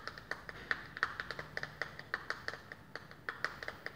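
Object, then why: Plastic makeup compact. A small round plastic powder makeup compact, held in the hands, is tapped repeatedly with long painted fingernails on its lid and rim. There are 22 quick, dry clicks in an uneven rhythm, each with a bright, hollow plastic tone centered around 1.3 kHz. Each click dies away almost instantly.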